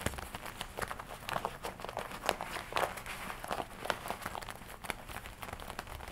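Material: Leather.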